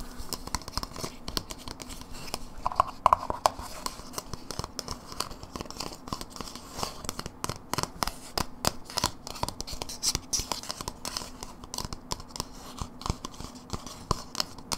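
A small, empty white plastic cream cheese dip tub with a paper label, open with its lid off, is held in the hands with a finger inside. Long nails tap and scratch its outside and rim, making rapid, dry, bright clicks and scratchy ticks that run steadily throughout. Each tap is short with almost no ring.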